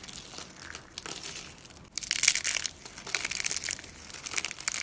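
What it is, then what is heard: Dry soap flakes. A hand with long glossy nails grabs, squeezes and crumbles a pile of brittle pink, blue and green dry soap shavings on a countertop. The result is a dry, bright crackling crunch, almost entirely high-pitched with hardly any low end, broken into quick crinkly bursts. The loudest stretch comes midway, between about two and three seconds in.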